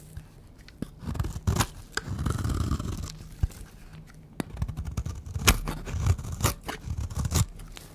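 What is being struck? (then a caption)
Bar of soap carved with a blade. A peach rectangular bar of dry soap, held in the hand, is scraped and carved with a utility knife blade into thin curls. Dry, crumbly scraping strokes with a low body alternate with sharp, bright crisp cuts and short crunches, some strokes drawn out and others quick.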